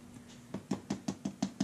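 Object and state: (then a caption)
Solid cured fiberglass windscreen shell. Seven quick, dull knocks on a handmade fiberglass windscreen for a Suzuki GSX-S750 motorcycle after the first coats have been laid up. Each knock is short and plastic-sounding, with a low body and almost no ring, showing the layup has cured into a solid shell.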